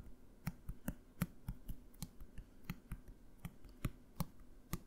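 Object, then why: Plastic bottle. A blue plastic bottle, held in one hand, is tapped with the fingertips of the other in an irregular run of about fifteen quick, dull taps. Each tap is short and low-pitched with a faint bright click on top, and dies away almost at once.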